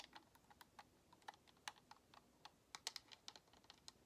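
Long nails tap the top edge and then the thumbstick of a white, hollow plastic Xbox controller. The result is a quiet run of about 18 sharp, bright clicks with almost no ring or low end, sounding much like typing on a keyboard.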